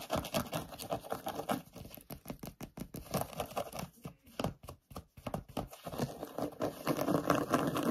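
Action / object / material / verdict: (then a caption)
scrape / suede boot / suede / none. Short nails and fingertips rapidly scratch and pat a hollow grey sparkly suede boot with a jewel button and fur trim. The result is a dense, irregular, fast patter of dry scratchy hits with a few brief pauses midway, building fuller and louder toward the end.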